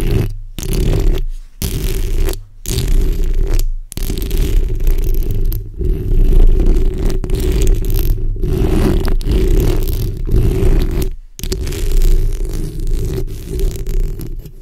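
The backs of long red nails scratch along the sides and top of a black condenser microphone's hollow steel mesh grille. The result is a dense, boomy, low rumbling scrape with a gritty texture, broken by a few brief silent pauses between strokes.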